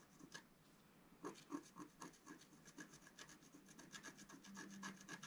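A wooden stylus scratches strokes into the coating of a flat, thin, black-coated scratch art sheet. A quick, somewhat uneven series of short, dry scraping strokes with a bright rasp follows a brief lull after the first stroke.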